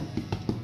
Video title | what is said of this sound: how we make sour dough bread for the Globe Inn Lympstone and Pig and Palle Topsham | Pat it on the underside and if it sounds hollow if it's done